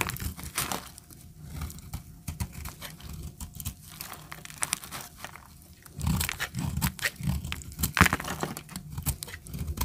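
A utility knife blade scores a solid tan bar of dry soap held in the hand, chipping off crunchy flakes. Dense, dry crunching and crackling scrapes come in quick, uneven bursts with sharp, bright clicks over a low rasp. The cutting grows louder and heavier in the second half.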